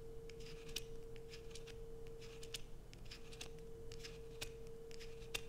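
Long nails scrape curls off a solid light-blue bar of soap held above a dark sheet, and the shavings fall below. Quick, dry, bright scratching crackles repeat throughout over a steady low hum and a constant faint tone near 470 Hz.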